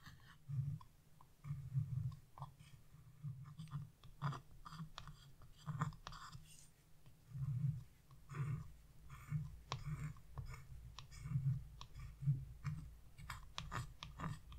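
A thin metal chisel tip in a wooden handle scratches fine lines into the black coating of a flat scratch-off coloring page. The result is a series of quiet, soft scratching strokes with a low, muffled body and faint, brief brighter scrapes, rising and falling in short bursts.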